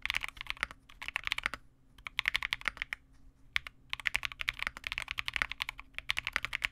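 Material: Plastic.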